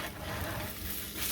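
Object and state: Nothing is struck.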